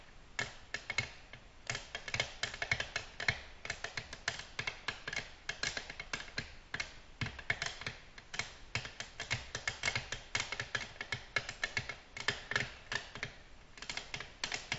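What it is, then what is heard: Glass tabletop tapped with fingernails. Long natural nails from both hands tap quickly across a flat, reflective black glass tabletop in a typing-like rhythm. The clip is a steady stream of short, bright clicks with a hard tick near 2.2 kHz and almost no ring after each hit. The taps come in uneven flurries and stay light and crisp throughout.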